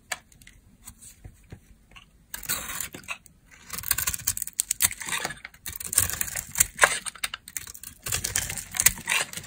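A metal utility blade carves and scrapes a solid, palm-sized, rectangular dry soap bar, red outside and white inside, held in the hand, peeling off crisp shavings. The first couple of seconds bring a few faint, sparse ticks and scratches. Then come denser bursts of bright, crackly scraping with dry, quick-decaying clicks and very little low end.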